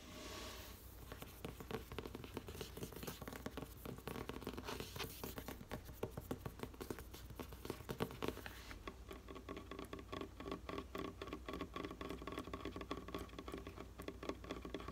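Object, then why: Hardcover paper book. A thick closed hardcover book with a dark spine, a solid block of paper pages, lies flat on a wooden desk and is tapped with medium painted fingernails and fingertips on the cover and page edges. Quick, dense clicks and soft dull pats patter on continuously with very short decay over a steady low background hum, shifting to a slightly sharper, more ringing tap pattern in the second half.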